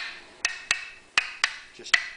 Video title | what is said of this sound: Honda EU3000is Generator Extended Run Time Fuel Kit by Pinellas Power Products | tap it with a plastic screwdriver handle and it's solid and ready to go back together